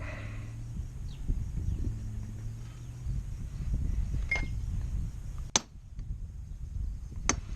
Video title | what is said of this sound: How not to fix a trailer! Maybe? | you can hear the pitch actually change when she bottoms out